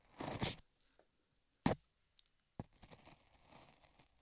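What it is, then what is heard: Modeling clay scraped on a microphone ear. A dark metal tool scrapes the lower part of solid beige modeling clay on a microphone ear while a gloved hand steadies the ear. Close, gritty scraping and crunching come in a loud opening burst and two sharp later strokes, with a bright, papery edge. Softer rasping follows in between and toward the end.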